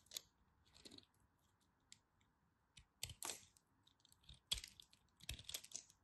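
A craft knife carves chunks off a small solid piece of pink striped bar soap held in the fingers. Quiet, irregular crisp scrapes and crunchy cuts with bright, hissy edges stop dead after each stroke, with faint soft rustles between them.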